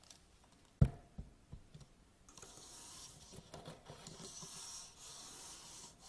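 Hands grip the hollow legs of an upright aluminium tripod, rubbing and scratching up and down them. A sharp knock and a few soft thuds open the clip, followed by a steady, bright, scratchy rubbing that continues to the end.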